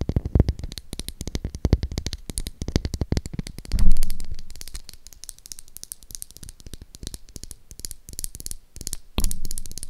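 Long acrylic nails rapidly tap and scratch the face of a solid pink oval Dove soap bar held in the hand close to the mic. A dense run of quick, dull clicks and soft low thumps is broken by two louder scratching swells that fade out, one near the middle and one near the end.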